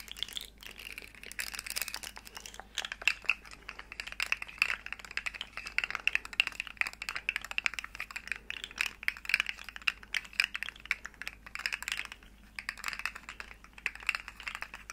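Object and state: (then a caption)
Plastic articulated slug fidget toy. Long nails rapidly tap and scratch the segments of a small, hollow, rainbow plastic articulated slug fidget toy while it is bent. The result is a dense, continuous stream of crisp, bright plastic clicks and scratchy rasps with almost no low end, centered on a hollow tone around 2.4 kHz. Each tap dies away instantly.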